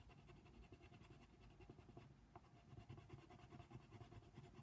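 A hand colors small spots on a flat paper coloring book page of a giraffe using the tip of a brown colored pencil. Short, soft scratching strokes come through quietly over a steady low rumble, with faint bright rasp in the pencil scrapes.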